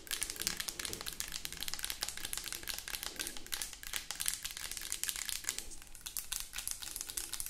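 Long acrylic nails rapidly tap and scratch a mid-sized white plastic cosmetic lotion bottle with a cap, hollow and probably filled. A fast, dense stream of bright, crisp clicks and crinkly scratching runs throughout, each tap dying away almost at once.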